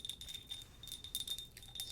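A small handleless ceramic cup bought in Japan is tapped repeatedly with fingernails. Nine quick, bright clinks sound, each a high, chime-like ring that dies away almost at once.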